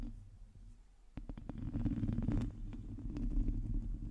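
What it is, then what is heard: Metal mesh microphone grille being scratched. Long nails on both hands scratch the sides of a black microphone's hollow domed metal mesh grille, producing a low rumbling scrape. A quiet first second gives way at about 1.2 s to a denser run of sharp scratchy clicks over a dull, boomy bed.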